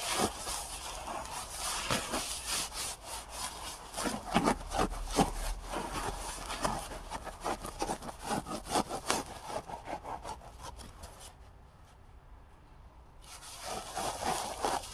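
Fingertips rub and scratch the soft surface of a full, large, cylindrical roll of white embossed paper towels with a cardboard core, held upright beside the microphone. Dense, brushy scratching bursts come in an uneven rhythm, pause briefly into near silence, then resume more softly.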